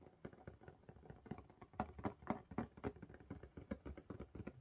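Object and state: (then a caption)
Cardboard mailer box. Long pink nails of both hands tap quickly on the lid of a closed, hollow blue corrugated cardboard mailer box. The taps come in a fast, uneven patter of dull, hollow knocks with a low-mid body, almost no bright content and very short decay.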